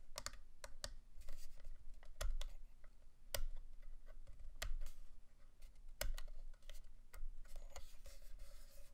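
Long glittery nails and fingertips tap and click along the top face, grips and switches of a black hollow plastic Protocol Slipstream quadcopter stunt drone remote controller held in both hands. Sharp, dry plastic clicks and taps come in irregular bursts with soft scratching between them, over a steady low hum.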